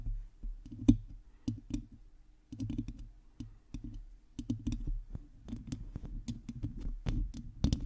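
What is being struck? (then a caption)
Metal mesh microphone grille. Long teal nails on both hands scratch and tap a hollow domed metal mesh microphone grille. The result is a quiet, irregular stream of close, dull scratches and clicky taps, mostly low and thumpy with brief brighter flicks. Each touch dies away almost at once.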